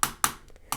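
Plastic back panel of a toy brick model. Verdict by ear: Hollow.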